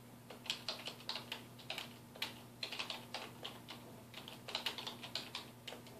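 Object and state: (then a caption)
Plastic computer keyboard. A black plastic computer keyboard on a wooden desk is typed on with the fingertips of both hands. It gives a quick, uneven run of short, bright, clicky key taps that die away almost at once, over a faint steady low hum.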